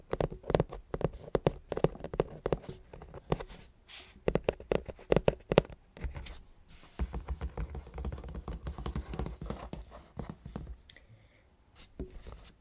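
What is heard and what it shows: Fingertips and nails tap rapidly on top of the hollow black cardboard lid of a ZBOX subscription box. Quick, dry, hollow knocks with a mid-range tone come in uneven bursts, with a brief pause partway through, then become a denser, softer patter before trailing off.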